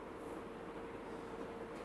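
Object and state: Nothing is struck.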